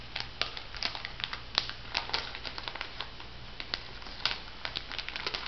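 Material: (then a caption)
Plastic foil. A pig-design plastic foil sheet mask sachet is held up in both hands and squeezed and crumpled by fingertips and nails. It gives a steady run of bright, dry crinkles and crackles with sharp snaps, over a faint low hum.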